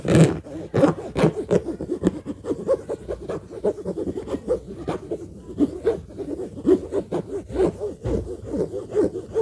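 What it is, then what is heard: Fabric suitcase, hollow. Fingertips tap and scratch across the top of a hollow orange fabric suitcase with a black zipper. The result is a steady run of soft, muffled taps and rough scraping rubs, sitting mostly in the low-mid range with little high sheen.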